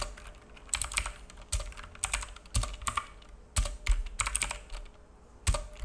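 Fingertips of both hands type on a black full-size mechanical keyboard with plastic keycaps and a hollow case, resting on a wooden desk. Quick bursts of repeated key taps give bright, sharp clicks over a deep, hollow thock, with short pauses between runs and a faint steady hum underneath.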